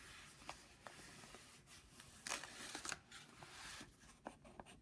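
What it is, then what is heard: Padded paper envelope being rubbed. A rubber eraser on the end of a wooden pencil, held by fingertips, rubs back and forth on the printed logo area of a flat brown Jiffy padded paper mailing envelope. It makes a quiet, bright, papery scrubbing hiss with light scratchy ticks scattered through and a few sharper, louder strokes.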